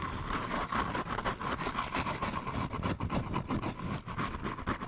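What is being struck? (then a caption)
Brown kraft paper bag. Medium-length painted nails scratch and tap quickly along a hollow, textured, slightly embossed brown kraft paper bag held near the microphone, while fingertips rub and grip it. The result is a dense, continuous papery crackle and scrape with a mid-range emphasis, broken by rapid soft taps and fluttering swells in loudness.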